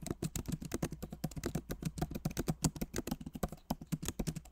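Both hands type rapidly with the fingertips on a backlit MacBook Pro Magic Keyboard with plastic keycaps set in an aluminum body. The result is a quick, uneven run of short, dry taps with a soft, low thock and little ring after each key.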